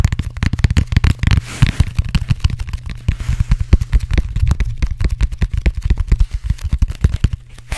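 Fingertips and nails rapidly tap and scratch the pebbled surface and end of a black, textured, closed-cell foam roller, a hollow cylinder held close to the microphone. The result is a fast, dense run of dozens of short, dry, deep thumps, with faint scratchy rustling between them.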